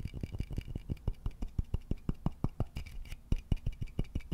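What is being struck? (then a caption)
Wooden vase. Fingertips and nails rub and scratch the body of a hollow wooden vase, producing a quick, steady run of short, dry taps and scrapes at about three per second. Each stroke is a soft, low thud with a faint bright scratchy edge. The strokes stop instantly with no ring, over a quiet, close background.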